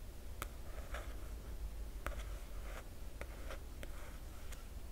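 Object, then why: Glossy paper dust jacket on a hardcover book. Crisp, dry fingernail ticks and soft scratchy swishes on the glossy paper jacket of a hardcover book.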